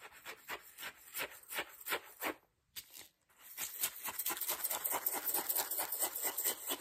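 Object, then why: Ceramic mug and metal spoon. A metal spoon scrapes and taps around the inside of a hollow white ceramic mug with a red flower pattern. The sound is a bright, quick run of scraping clinks with little low end and a brief pause near the middle. The faster, denser tapping then resumes.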